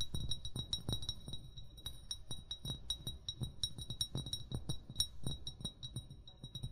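An upright, hollow amber glass wine bottle is tapped with short fingernails and fingertips in a quick, irregular series of light taps. Each tap pairs a soft low thump with a short, bright glassy ping near 3.8 kHz that fades almost at once.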